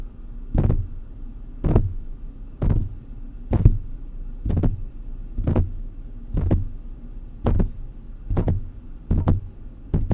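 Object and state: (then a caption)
Metal microphone grille tapped. Fingertips of both hands tap the mesh metal grille of a large silver metal USB condenser microphone on a stand, with the sound picked up directly by the struck mic. Short, deep, muffled thumps arrive roughly once a second, each with a brief crackly top and almost no ring, over a low steady background hum.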